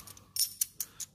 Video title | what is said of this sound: 生孩子公婆奖励一百枚银元，弟弟缺钱偷偷顺走，估价居然值十几万【小闫打铁镯】 | นี่ไม่ใช่เสียงของเงินนี่คือเสียงของทองแดง